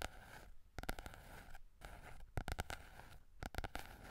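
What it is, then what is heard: Paperback book cover tapped and scratched. Fingertips and nails scratch and tap the glossy yellow card cover of a small softcover Berlitz German phrase book with a solid paper block, held in both hands close to the microphone. A quiet, steady scratchy rustle runs throughout, broken by three clusters of quick, sharp taps with a soft low thump.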